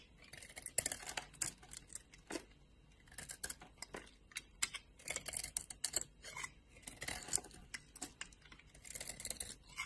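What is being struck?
Bar of soap scraped with a knife blade.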